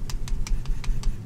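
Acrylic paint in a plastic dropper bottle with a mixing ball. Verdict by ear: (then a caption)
Thick. An Army Painter Fanatic acrylic paint dropper bottle in Onyx is shaken six times, each shake a soft, muffled swish over a steady low hum. The mixing ball inside can't be heard at all because the paint is very thick.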